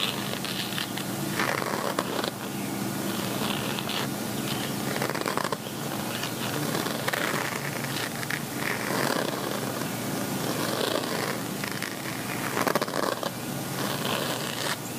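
A gold woven metallic fabric zip cosmetic pouch is held upright while fingertips and nails scratch and tap its ridged woven front. The result is a steady, crackly, bright scratching texture with frequent soft taps and brief louder swells, and little low end.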